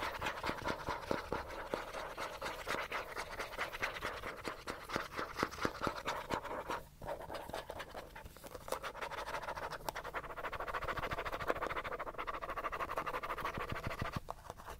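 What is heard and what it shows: Fingernails scratch aggressively and fast along the side of a small, hollow, yellow plastic cosmetic bottle. The result is a dense, steady stream of dry, raspy scrapes with a hollow mid-range tone, briefly dipping near the seven-second mark before continuing.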